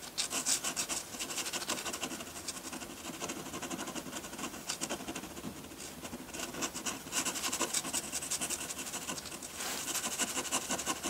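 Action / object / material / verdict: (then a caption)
scrape / drawing paper sheet and metal pen nib / paper / none. A metal dip pen nib scratches hatching onto a flat sheet of white drawing paper. Rapid, irregular strokes make a continuous dry, bright scratching with almost no low end. The strokes swell louder toward the end.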